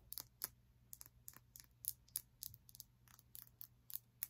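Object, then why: Small glass crystal block tapped with fingernails. A small, solid, clear crystal block or prism, held in the hand, is tapped and scratched with long nails. The result is a quick, irregular series of quiet, bright, crisp clicks and short scratches that stop dead with no ringing.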